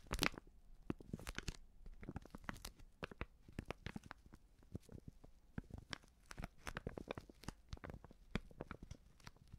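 Fingers and nails crinkle and scratch a medium white Prix Garantie seasoning bag, a plastic pouch partly filled with powder. The result is a steady, quiet run of dense, crackling crinkles and dry scratches, with sharp, brief bursts that reach from a low thump to a bright hiss and stop dead with no ring.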